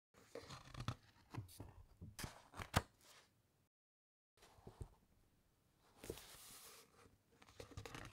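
A thick paper encyclopaedia page is lifted and turned close up, giving soft, crinkly rustles and light taps with a low body and faint bright edges. After a brief silence, fingertips with long nails rub and scratch across the next page in quieter, dry brushing strokes.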